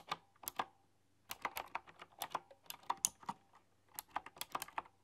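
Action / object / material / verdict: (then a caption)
tap / keyboard with round metal-rimmed keycaps / plastic and metal / none. Fingertips with long, dark-polished nails type on a full-size, typewriter-style computer keyboard with hollow, round chrome-rimmed keycaps. About twenty sharp, bright clicks and taps arrive in irregular bursts with brief pauses between them. Each stroke dies away almost instantly.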